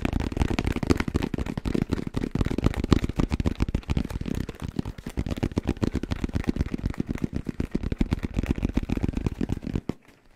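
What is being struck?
Fabric-covered hard-shell headphone case.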